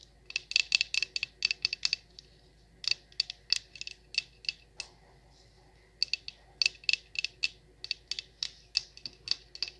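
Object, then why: Wax pillar candle. Long nails tap and scratch the wax sides of a large wax pillar candle, making about 36 short, bright, dry clicks with a high, crisp tone. The taps come in quick bursts separated by brief pauses, with faint scratching between them.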